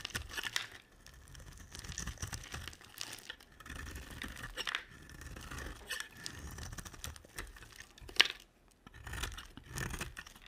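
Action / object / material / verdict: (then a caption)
scrape / cream bar soap cut with a knife blade / soap / none. A utility knife blade carves a solid cream bar of soap, scraping cuts along its edge. Dry, crisp, crumbly scraping and shaving sounds come in bright bursts, with a sharp click near the end.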